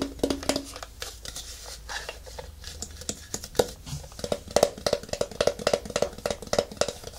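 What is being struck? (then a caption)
Plastic turntable housing. Fingertips and nails tap the top and the underside, where the rubber feet are, of a round white plastic photography turntable about 20 cm wide, with a hollow housing and a power cable. The result is a quick, uneven run of short, dry taps and clicks. The taps have bright nail edges and a faint hollow plastic ring around 580 Hz that dies away almost at once.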